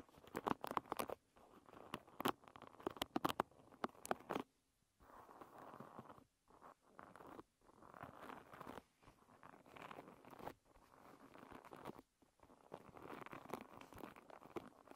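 Long red nails scratch and run through the upturned wooden pins of a hairbrush. The first four seconds are dense, sharp clicks and plucks, followed by soft, continuous scratching bursts separated by brief silences.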